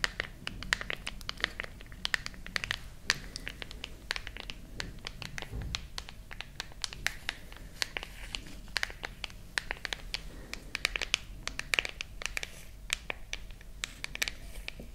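Long nails tap and scratch the back of a silver glass and metal smartphone held horizontally. Dense, rapid clicks and scrapes with a bright, high edge continue throughout at a low level, each tap dying away almost instantly.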